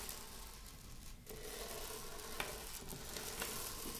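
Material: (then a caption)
Buckwheat. Long acrylic nails scratch and rake through a small heap of dry buckwheat grains spread loose on a wooden table. The result is a steady, soft, gritty rustle with a sizzling, crinkly texture that thickens after the first second. Three sharper clicks stand out above it.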